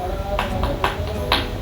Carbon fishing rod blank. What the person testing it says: Suaranya ini keras, coy. Ee tipe karbon solid atau ee maksudnya tipe karbon yang keras itu pasti bunyinya nyaring ya kalau di sintil